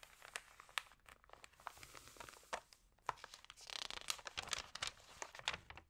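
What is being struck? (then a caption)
Glossy paper magazine pages. Fingertips rub and smooth the pages of an open Libelle glossy paper magazine, then turn a page. The result is a steady, bright crinkling and rustling dotted with many sharp little ticks and crackles, with a fuller sweeping swish in the middle as the page turns.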